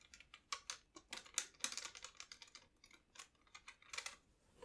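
Fingertips press and tap the plastic piano keys and bass buttons of a large red pearloid (celluloid) 72-bass piano accordion, which has a hollow body, a metal grille and a cloth bellows. About twenty quick, irregular mechanical clicks are heard, bright and short with almost no ring.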